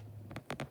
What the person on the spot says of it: if you shake it, you can hear the seeds rattle in there